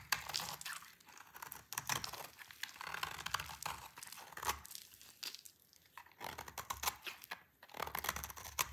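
A solid, dry orange soap bar held in the hand is shaved with a utility knife blade into crunchy curls. Bright, crisp crackling and scraping comes in dense bursts, with brief quieter pauses between strokes.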